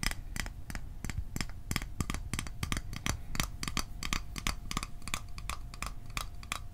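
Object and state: Small metal tin.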